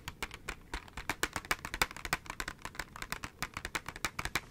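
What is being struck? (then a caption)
Clear plastic blister pack on cardboard backing. A small KISS press-on nails package, a clear plastic blister on a cardboard backing held in one hand, is tapped and crinkled with long nails. Quick, irregular, dry plastic clicks and taps come about three per second, bright and crisp with little low end. Each tap dies away almost instantly, with soft crinkling between them.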